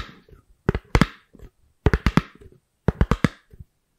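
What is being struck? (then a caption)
Thin round styrofoam lid. A thin, white, round styrofoam lid is held beside the microphone and scratched and tapped with long nails and fingertips. Three quick bursts of short, dry, hollow taps with almost no ring stand out, separated by faint, soft scratching.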